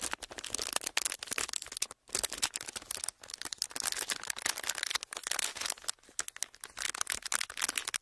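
An empty, pleated clear plastic wrapper is squeezed and crinkled between fingers. It makes a dense, bright, continuous crackling, with sharp snaps layered over a hissy rustle and almost no low end. The crackling runs steadily throughout, broken only by brief pauses near the 2- and 3-second marks.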